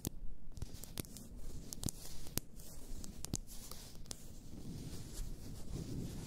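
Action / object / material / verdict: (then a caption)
scrape / glass bottle of bath salts / glass / none. Long nails scratch and rub along the sides of an upright, full glass bath salt bottle. A steady low rustling scrape is broken by short, sharp bright clicks as the nails catch on the glass.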